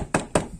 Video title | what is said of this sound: TIP: HOW TO FIX A RATTLING LICENSE PLATE ON YOUR CAR OR MOTORCYCLE | agora é um som seco ela não vai ficar mais batendo